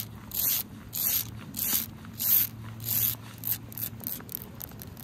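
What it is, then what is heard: Asphalt pavement scratched with nails. Long acrylic nails scratch and rub across a large, flat, wet dark asphalt road or driveway outdoors in the rain. Bright, hissing scrapes come in a series of rhythmic strokes, longer at first and then shorter and quicker, over a faint low steady hum.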